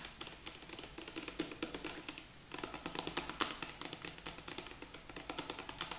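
A large light-green plastic shampoo bottle with a green plastic cap, partly filled and held horizontally, is tapped along its side with long acrylic nails. Dozens of quick, crisp, bright clicking taps come in an irregular, typing-like flurry, with a brief pause near the middle. Each tap is dry and dies away almost at once, with little low-end body.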